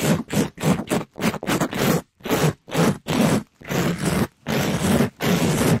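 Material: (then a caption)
Polyester mesh. A pink, sparkly, palm-sized glitter scrub sponge made of polyester mesh over foam is held in a black nitrile-gloved hand and rubbed and scraped fast across the top of a microphone grille. About thirteen rough, irregular scratching bursts are heard, each a dense, close, broadband rasp with a heavy low rumble and a papery, hissing top. The bursts are separated by brief silences.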